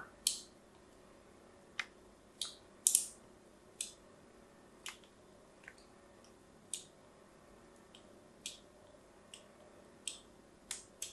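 A small blade cuts lines into the surface of a solid white embossed bar of soap held upright. About 13 short, crisp, bright scraping cuts come at uneven intervals, each fading quickly over a quiet background.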